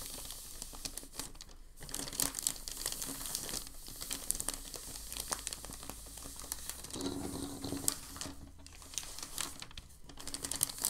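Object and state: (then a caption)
Crumpled packing paper. A large, thin, creased sheet of crumpled packing paper lying on a dark surface is smoothed and rubbed with fingertips and palm. The result is a steady stream of bright, crisp crinkling and crackling, with brief louder rustles scattered throughout the eleven seconds.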